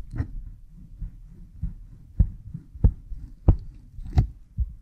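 A cotton swab rubs behind an oiled pink silicone ear model microphone, producing a series of deep, muffled thumps at an uneven pace over a low, dull rubbing texture. Each thump is short and dry, with almost nothing heard in the high range.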